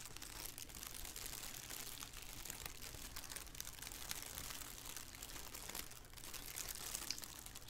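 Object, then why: Thin plastic shower cap. A thin black plastic shower cap, hollow and empty, is held in both hands and squeezed and crinkled with the fingers. It makes a steady, quiet, bright crinkling that runs continuously with dense rustling texture and a faint low hum underneath.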